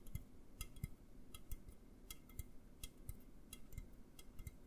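An upright, hollow A&W aluminum drink can is tapped with fingertips and nails in a quick, uneven rhythm. Each tap is a soft, low thump with a bright, clicky edge that dies away almost instantly, without ringing.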